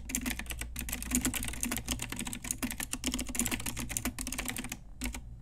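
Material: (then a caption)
Plastic. Continuous typing on an Ajazz pink retro typewriter-style mechanical keyboard with round plastic keycaps, struck with long nails and fingertips. Rapid, bright plastic clacks and clicks overlap in a steady stream over a low hum, easing briefly near the end before a few final keystrokes.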